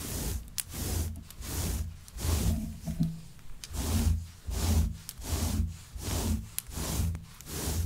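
Long white acrylic nails and fingertips scratch and rub through the long pile of a grey shaggy synthetic faux fur rug lying flat. About nine soft, rhythmic swishing strokes swell and fade, heavy in low rumble with faint bright rustle and occasional sharp nail ticks.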